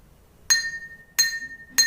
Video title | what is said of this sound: UJIAN AKHIR SEMESTER MATA KULIAH PEMBELAJARAN SAINS AUD - EKSPERIMEN GELOMBANG BUNYI PADA AUD | suaranya sangat nyaring karena di sini tidak ada yang meredam udara yang masuk pada gelas